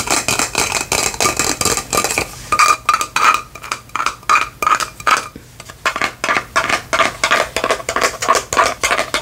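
Long fingernails tap and scratch a faceted clear plastic lantern jar with a white lid and fairy lights inside, held in the hand. Quick, bright clicks and scrapes come in a rapid, steady series, easing midway into slower, separate taps that each leave a short ring around 1.2 kHz. The pace then picks up again with dense clicking.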